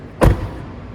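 The door of an earlier (Legacy) Tesla Model 3, an aluminium car, is shut with a single low, hollow thud that ends in a brief metallic clack. The close sounds tinny, like a tin can.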